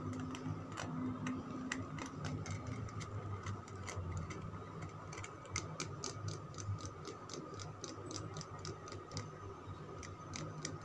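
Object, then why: Bar of soap. Fingernails scratch and tap the scraped surface of a solid green Lux soap bar held in the palm. Quick, dry, clock-like ticks with bright edges repeat throughout over a low, steady hum and a faint constant midrange tone. Each tap dies away almost at once.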